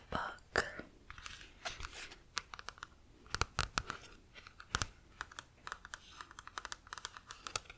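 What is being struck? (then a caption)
Paperback book with card cover. A medium paperback book, *Tactical Motherhood*, with a glossy card cover over a solid stack of paper pages, is held upright in one hand while long manicured nails scratch and tap across the cover. Quick, dry, bright clicks and raspy scratching strokes come in irregular bursts, each tap dying away almost instantly with no ring.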